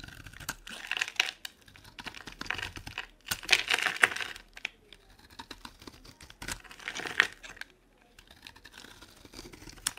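A metal blade scrapes and carves flakes off a solid, dry, oval green soap bar with embossed lettering, held in the palm. Dry, crisp scraping and crumbly crackling come in bursts with brief pauses, mostly bright and high with almost no low end.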